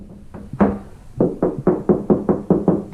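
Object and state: Hollow plasterboard wall.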